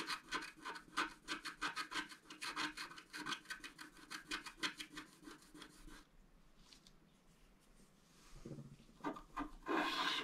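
A wooden stylus scratches dense hatching strokes into a flat scratch-art card, a black coating over colored foil, resting on a table. Quick, bright, rasping scrapes repeat at a brisk, uneven pace for about six seconds. After a quiet pause, a few louder, harsher strokes close the clip.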